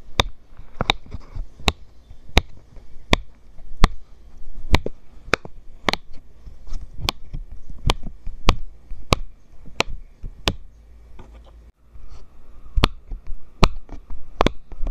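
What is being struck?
Silicone pop-it fidget toy.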